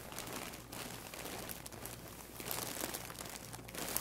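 A large white plastic poly mailer bag, full and stuffed, sits on a wooden table while a palm and fingers press, rub and squeeze its sides. The bag gives off a steady, bright crinkling with crisp crackles that swell and ease over the four seconds. A faint low hum runs underneath.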